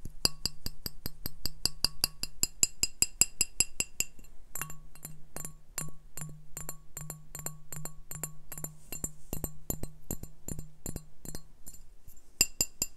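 Glass beer bottles are tapped in a quick, uneven rhythm, each tap giving a short, bright, high-pitched clink that dies away almost at once. After a brief pause, a steady low tone hums under most of the taps before the tapping carries on alone to the end.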